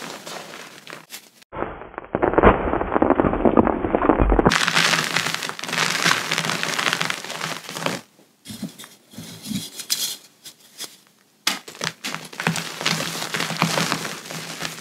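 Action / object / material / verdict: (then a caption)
scrape / pressed gym chalk chunks crushed in bare hands / chalk / none. Bare, powder-coated hands crush and crumble small solid chunks of pressed gym chalk (magnesium carbonate) in cupped palms over a pile of chalk powder, releasing puffs of powder. Dense, crunchy crackling bursts come in irregular flurries, with a muffled, duller stretch early on and brief quiet pauses between squeezes.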